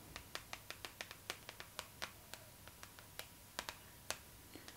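Long pink acrylic nails tap and scratch across the glossy paper cover of a Vogue magazine lying flat, making 21 quick, dry, bright clicks spaced unevenly over a few seconds. Each tap is short with almost no ring, and a faint steady tone and soft hiss sit underneath.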